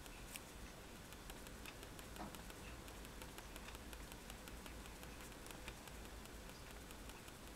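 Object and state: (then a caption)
Pen stippling on drawing paper. A fine-tip technical pen held in the fingers stipples dots along a wand drawing on a flat sheet of white drawing paper resting on a table. Rapid, light, crisp ticks patter with bright clicks over a quiet, steady low hum.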